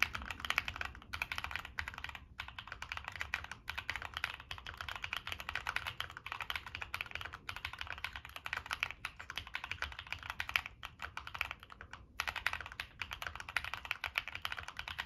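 Fingertips type steadily on a Monsgeek M1 mechanical keyboard with NK Cream switches, a dark metal case and purple and black plastic keycaps. A fast, continuous stream of short, bright clacks with quick decay fills the clip, with only brief pauses between bursts of keystrokes.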